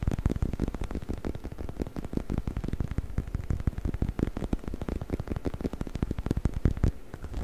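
Fingernails scratch and rub the bumpy surface of a hollow orange rubber chicken toy held in the hands. The result is a dense, continuous stream of quick, dry scratching strokes with a heavy, low, hollow tone and almost no bright sound.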